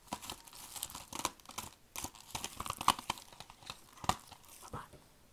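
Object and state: Shrink-wrapped plastic DVD case.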